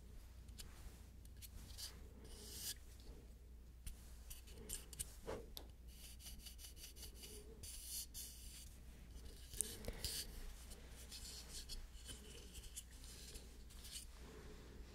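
A small, solid rectangular foam-core nail buffer block with abrasive faces is held in the hands and rubbed and scratched with fingertips and nails. The result is a quiet, continuous rasping scratch with bright, high hiss and brief sharp scrapes over a steady low hum.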